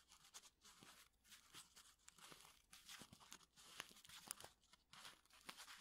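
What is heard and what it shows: A small, flat Lipton tea bag envelope made of paper and foil is crinkled and rubbed between fingertips. It makes a quiet, bright, dry crackling in irregular bursts with short sharp snaps and almost no low end.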